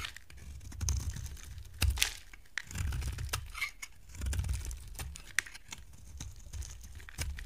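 A box cutter blade scrapes and shaves flakes from the end of a solid, dry purple bar of soap held in the hand. The sound is crisp, crackling scraping with bright, papery tearing textures and sharp clicks over soft, low handling rumble. The cuts come in uneven bursts that stop dead with no ring.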